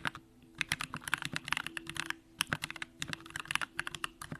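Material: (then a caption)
Aluminium, plastic. Both hands type continuously with the fingertips on a compact Bakeneko65 mechanical keyboard with an aluminum case, Durock lavender switches and pink plastic keycaps. A rapid, uneven stream of short, bright clacks stops instantly with no ring, over a faint steady low hum.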